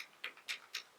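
A plastic bottle of KVD True Portrait liquid-to-powder foundation is shaken so the little mixing ball inside rattles, making five sharp, high-pitched clicks in steady rhythm. Shaking thickens the product, though it still stays too liquidy.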